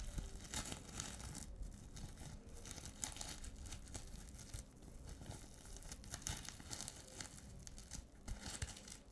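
A flat reversible-sequin pouch of multicolour plastic sequins on fabric is held upright in both hands while long nails scratch and flip the sequins. The result is a steady, dense crinkling and scratchy rustle with bright, hissy edges. It swells in short bursts over a low rumbling undertone.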